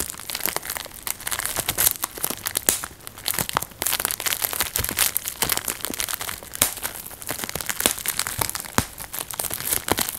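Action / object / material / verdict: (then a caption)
scrape / plastic bubble wrap / plastic / none. A clear plastic bubble wrap sheet is held in both hands while the fingertips and thumbs squeeze and pop its air-filled bubbles one after another. Sharp, bright snapping pops burst irregularly over a steady crinkling rustle of the plastic, and each pop dies away almost instantly.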